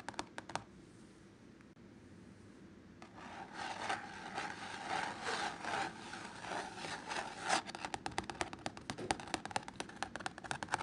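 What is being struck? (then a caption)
Painted canvas on a stretched frame. Fingertips and short nails tap, then scratch, a painted canvas wall artwork of red poppies on an orange and ochre background, likely stretched over a frame. A few sharp taps open the clip before a quiet pause, then a steady dry rubbing scratch with a bright, papery hiss builds up. It ends in a run of quick, crisp, irregular taps.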